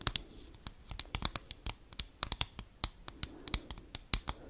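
Long acrylic nails scratch and tap the front and back of a thin, flat, folded cardboard Christmas card with a cat picture on it. About two dozen sharp, dry clicks and scrapes come in quick, uneven succession, bright and crisp with almost no ring after each hit.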